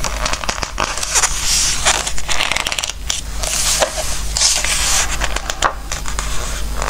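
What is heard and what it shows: A page of a glossy-paper Christmas book is lifted and turned, then fingertips rub across the slick page surface. The result is crackly, bright rustling and scratchy swipes in uneven bursts over a steady low hum.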